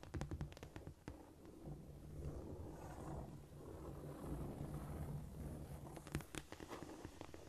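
Long almond-shaped nails scratch a flat, solid cork floor with both hands. A burst of quick, sharp clicks opens the clip, then a soft, steady, low rasping scrape continues through the middle. A few more crisp clicks come near the end, and the sound stays quiet throughout.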